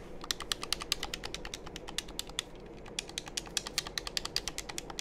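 Fingertips press and tap the buttons and shell of a black, hollow, hand-held plastic game controller held in both hands close to the microphones. It makes a quick, uneven stream of dozens of dry, bright clicks that stop dead with no ring, over a steady low background hiss.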